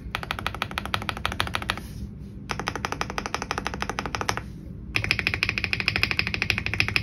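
Both hands' fingertips type rapidly on an Aula F99 Pro, a full-size white mechanical keyboard with plastic keycaps and RGB backlight resting on a desk mat, with one hand pressing the spacebar at the end; a second keyboard nearby stays untouched. Fast, bright, clacky keystrokes come in three bursts separated by two short pauses. The last burst is louder and sharper than the first two.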